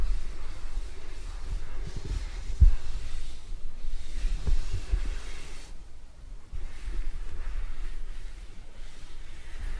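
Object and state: Nothing is struck.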